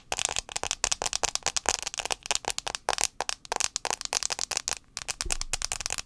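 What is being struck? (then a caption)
Glass smartphone touchscreen tapped with long nails. Long acrylic nails tap fast on the glass touchscreen of a handheld white iPhone 6s held screen-forward near the mic. The result is a rapid, uneven stream of short, bright clicks, each dying away almost instantly, with very little low end.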